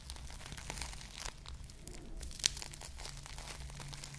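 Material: Foam, plastic.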